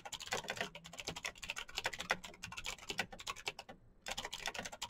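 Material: Plastic.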